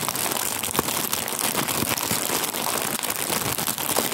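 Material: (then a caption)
Plastic. A full, flat printed plastic cookie wrapper with a hazelnut cookie picture is held in both hands while fingertips squeeze, crinkle and rub it. The result is a dense, steady stream of bright, crackly crinkling with quick sharp snaps throughout and very little low end.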